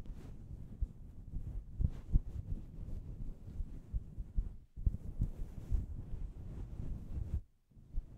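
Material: Synthetic fur.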